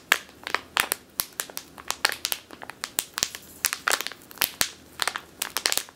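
Long teal nails squeeze and scratch a medium clear plastic bag with a purple label, full of flour or grain. A rapid, irregular series of sharp, dry crinkles and crunches, bright and high with almost no low end, each snapping off instantly.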